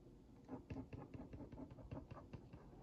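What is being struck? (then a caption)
Cardboard cookie box tapped with a wooden skewer tip. A wooden skewer tip traces over and taps on the printed cookies of a hollow Oreo Mini cardboard box held in one hand. Ten quiet, dull, hollow taps come in an uneven run over a soft scratchy tracing sound. Each tap is low and muted and dies away quickly.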